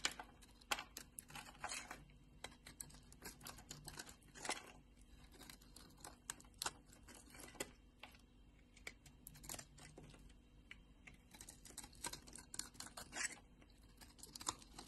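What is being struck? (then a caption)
Bar of soap. A solid pink Palmolive bar of soap, about hand-sized, rests in a palm with long glittery nails while a utility knife blade shaves and carves curls off its edge and surface. Quiet, crisp scraping and crinkly crunching strokes come in quick, bright bursts with brief pauses between them. There is a faint low hum underneath throughout.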